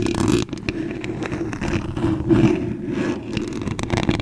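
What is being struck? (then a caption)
Metal mesh microphone grille scratched by long nails. Very long acrylic nails tap and scratch the top and front of the white metal mesh grille on a large condenser microphone's hollow head. The result is a dense, continuous scratching rustle with a strong low-mid resonance and occasional sharper taps, staying mostly low with little high brightness.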